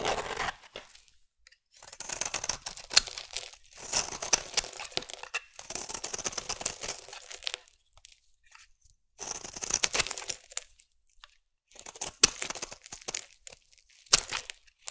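A solid, hand-sized green bar of soap is shaved and scraped with a metal utility blade held in the other hand. Bright, crisp, crumbly scraping comes in several dense bursts separated by brief silent pauses, with almost no low end.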